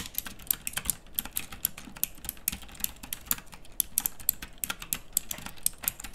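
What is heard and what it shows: Fingers with long nails type continuously on a pink, backlit, plastic mechanical typewriter-style keyboard with round plastic keycaps. A steady, rapid stream of sharp, bright clicks sounds over a soft low thud beneath each keystroke, and every click dies away almost instantly.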